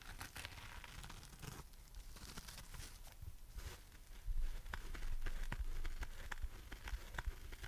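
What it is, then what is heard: Foam sponge scratched and tapped. A palm-sized, dry, porous rainbow-striped heart-shaped foam sponge is scratched and tapped with long nails and squeezed with the fingers. It gives a close, crackly, crinkling scratch dotted with short, bright taps, with a low rumble underneath. The sound grows louder and denser partway through.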